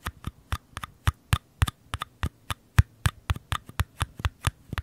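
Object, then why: Small paper cup. Fingertips and nails tap and scratch the outer walls of two small, empty, hollow paper cups, each held on its side in one hand beside the microphone. About twenty quick, irregular taps land, each a dull, low thump with a faint papery click on top that dies away almost instantly.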